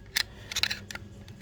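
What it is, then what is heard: Loose cush drive springs rattling in a clutch basket. A metal clutch basket from a CRF250L is shaken by hand, making its loose cush drive springs rattle inside the case. Short, bright metallic clicks and rattles come in uneven bursts, with little low end. The springs' looseness is judged excessive.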